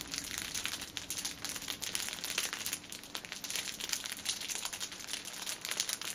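Fingers squeeze and scratch the clear plastic film at the ends of a cellophane-wrapped six-pack of pocket tissues resting on a table. The result is a dense, continuous stream of bright, crackly crinkling with quick overlapping snaps and almost no low end.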